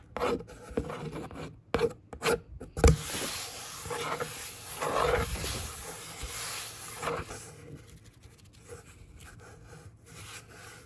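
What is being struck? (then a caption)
Corrugated cardboard box. Fingertips and a long nail lightly trace and scratch across a hollow brown corrugated cardboard box panel. The result is a soft, dry rasping and rubbing with a few sharper scratchy bursts and low hollow thumps early on, then a steadier brushing that fades quieter toward the end.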